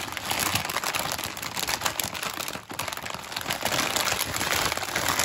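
A full, large 1 kg metallized plastic film bag of Witor's Golden chocolates is held in both hands while fingertips and nails tap, squeeze and crinkle its surface, front and back. The result is a dense, continuous, bright crinkling and crackling with very little low end, easing briefly just past the midpoint before building back up.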